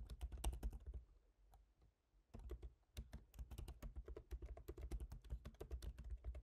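Fingertips type on the black plastic keys of a silver MacBook Pro's aluminium laptop keyboard. About thirty quick, dull taps land with a low thud and a brief bright click, with a short quiet pause before steady typing resumes.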